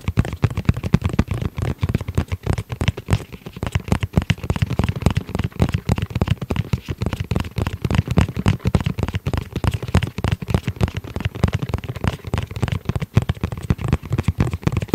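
Fingertips tap and scratch the rigid shell of a tablet-sized black hard-shell zippered case held in the hands. The result is a dense, rapid stream of short, dull, low-pitched taps with quick decay, mixed with light scratching over fifteen seconds.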